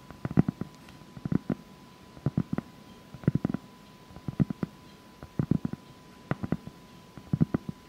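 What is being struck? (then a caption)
Granulated cork board. Long acrylic nails scratch close up across a flat, solid sheet of granulated cork board. About eight clusters of quick, dull scratching strokes arrive roughly once a second. The sound is low and muffled with almost no high end, and a faint steady tone hums underneath.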